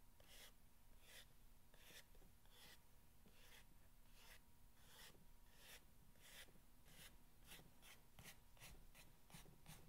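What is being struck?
Corrugated cardboard box.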